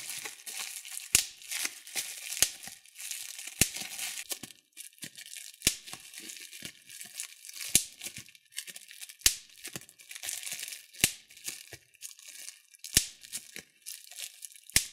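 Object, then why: Plastic bubble wrap. Thumbs pinch and pop the large air bubbles of clear plastic bubble wrap, giving a steady bright crinkling rustle of the plastic. Sharp, dry pops with almost no ring cut through every second or two, about nine of them standing out loudest.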